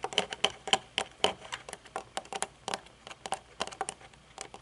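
Long nails tap the metal frame and dark tinted lenses of a pair of metal-frame sunglasses, first while they rest on the table and then while they are held up. About twenty quick, light, bright clicks come at an uneven pace, each dying away at once with no ring.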